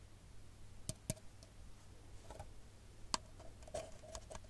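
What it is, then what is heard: Paper cup tapped with nails. An empty, hollow brown printed paper coffee cup is held upside down and tapped with long nails. Sparse, sharp, dry clicks sound with a hollow tone near 1 kHz and bright edges, each dying away almost instantly over a quiet, steady low hum.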